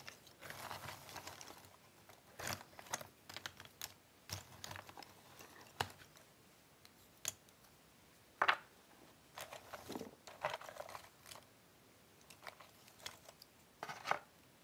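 Fingertips with painted nails stir and shuffle through several hundred loose cardboard jigsaw puzzle pieces in a cardboard box, with the box lid beside it holding sorted pieces. Soft, dry rustling and bright clicking clatter in irregular bursts, with sharper ticks as pieces knock together. The sound is quiet and thin, with almost no low end and very short decay between bursts.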